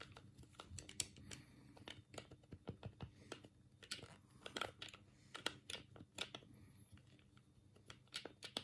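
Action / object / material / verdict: tap / plastic game controller / plastic / none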